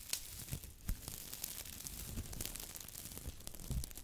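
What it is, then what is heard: Foam sponge. A small yellow porous foam sponge, soft and squishy, is held in one hand with long white nails and squeezed and rubbed by fingertips close to the mic. Quiet, rapid crinkling and tearing-like crackles run throughout, with soft low thumps and bright, brief scratchy bursts.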